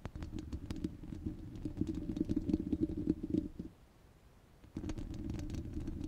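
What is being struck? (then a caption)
Steel wire-mesh microphone grille. Long red glitter nails scratch and tap the hollow, rounded steel wire-mesh grille of a handheld microphone, giving a dense, low, rumbling scrape with scattered bright ticks. The scratching grows rougher and louder, stops for about a second, then starts again at a steady level.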